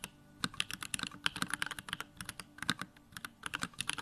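Fingertips type rapidly on a small 65% Bakeneko65 mechanical keyboard with a plastic case, white plastic keycaps, lavender Durock switches and the backlight on. The result is a quick, uneven stream of short, bright plastic clacks, each dying away almost at once, with light low thuds beneath them.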